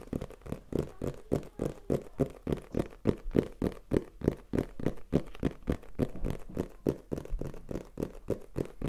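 A small black printed cardboard retail box for a Tascam recorder, either hollow or holding the device, is held in hand and tapped and scratched with fingertips and nails. About forty quick, dull taps come in a fast, uneven patter, each a short hollow thud with almost no ring, over faint scratching.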